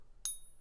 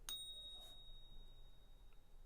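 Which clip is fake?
The first.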